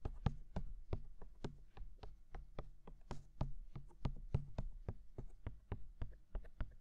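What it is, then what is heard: Silicone microphone ears tapped with fingertips. Fingertips tap quickly on the silicone dummy ears of a binaural microphone. A rapid, steady stream of soft, dull thumps is heard, each one short and dry with a faint click at its start and a low, muffled body.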